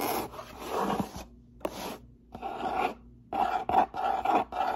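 Fingertips and nails scratch and rub the top flaps of a medium brown corrugated cardboard box with a white label, hollow, its lid partly open. Short bursts of dry, papery rasping come in an uneven rhythm with brief pauses between them. The scratching turns louder and quicker toward the end.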